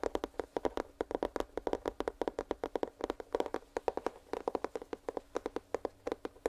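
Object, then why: Small cardboard product box. Fingernails tap quickly and continuously on a small, hollow, printed cardboard headphones box held close to the microphone. The result is a rapid stream of short, dry, hollow clicks with a papery midrange tone and almost no ring.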